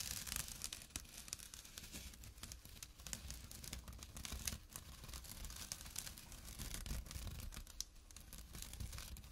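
Short nails scratch fast across the weave of a small, empty jute burlap drawstring pouch resting on dark cloth. The result is a steady, dense stream of dry, bright rasping and rustling over a soft low rumble, holding a fairly even level throughout.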